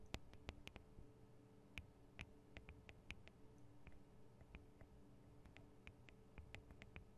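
Long acrylic nail tips tap the small, hollow metal and plastic microphone capsules of a Tascam DR-40 recorder. The result is a quiet, irregular series of sharp, bright clicks that die away almost instantly, over a steady low hum.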